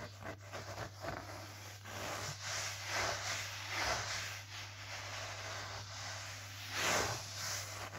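Fingers and the palm of one hand rub and scratch back and forth across low-pile grey fitted carpet on the floor, a flat solid surface. Bursts of soft, hissy, broadband scratching rise and fall over a steady low hum.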